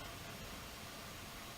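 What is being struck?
Nothing is struck.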